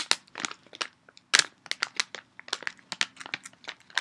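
An empty or nearly empty red and brown printed Dove candy bag, made of foil-lined plastic, is held up and crumpled and crinkled with both hands. Sharp, bright crackles come in quick irregular bursts, each dying away almost instantly.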